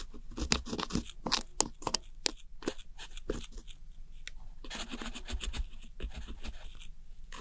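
A thin metal pick scratches and breaks up the crumbling blue and teal pressed eyeshadow pans in a round white plastic compact held by fingertips. Dry, bright crunching and scraping bursts come in quick, sharp bouts over a steady low rumble, each grain cutting off almost at once.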